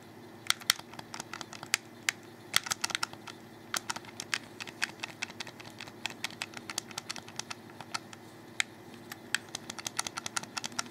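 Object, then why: Plastic game controller. Fingertips rapidly click the buttons of a hollow black plastic Xbox 360 controller held in the hands. Dense, irregular, sharp bright clicks with almost no ring follow one another for about eleven seconds over a faint low hum.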